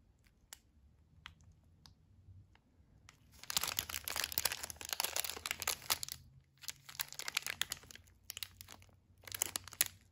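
An unopened, full Almond Joy candy bar of about 45 g, sealed in a blue and white plastic film wrapper, is held and turned by gloved fingertips that rub and crinkle the wrapper. A few faint, sparse crackles open the clip, then dense, bright, crisp crinkling comes in bursts with short pauses between them.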